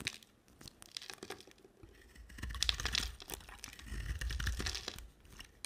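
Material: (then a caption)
Soap. A utility knife blade scrapes and shaves curls off a square solid bar of soap with a white core and red outer layer, held in a hand with long black nails. Dry, crinkly scraping ticks fill the clip, swelling into two denser, bright shaving passages with a low, rough rumble underneath before tapering back to sparse clicks.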